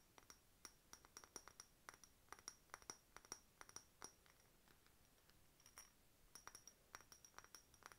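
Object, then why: Faceted glass bottle. Long nails tap a hollow, empty, faceted clear glass decorative bottle with a glass bird stopper and key charm, held in one hand. Quick, irregular bright clinks with a high glassy ping die away almost instantly, thin out to softer taps in the middle, then pick up again toward the end.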